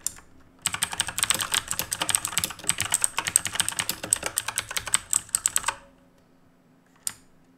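Fingertips type rapidly on the plastic keys of a black RGB mechanical keyboard made of plastic and metal, producing a dense run of bright, crisp clicks and clacks for about five seconds. A single click comes at the very start, and one more sharp key click sounds alone after a short silence near the end.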